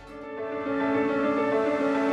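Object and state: Nothing is struck.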